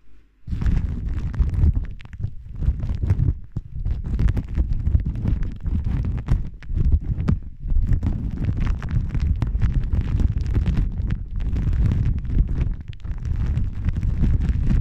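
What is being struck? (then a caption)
Thin plastic film. A thin, iridescent holographic plastic film is held in both hands and wrapped around the front of the microphone, then crinkled and rubbed with fingertips and long nails. After a brief quiet start, a dense, continuous crackling and rustling fills the clip, heavy with booming low-end rumble from the film pressing close against the microphone, with occasional brief dips between bursts.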